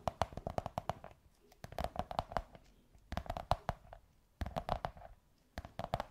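Long white nails tap and scratch a beige kraft cardboard tube, giving quick, dry, hollow taps with a mid-pitched resonance. The taps come in five rapid bursts separated by short pauses, each tap dying away almost instantly.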